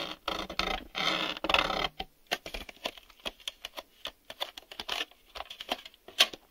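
A hollow black hard-plastic VHS video cassette is held in the hands while fingertips and nails tap and rub its front face and ribbed top edge. The first two seconds bring longer, bright scratchy rubs, followed by a run of quick, dry, clicky taps that each stop almost at once.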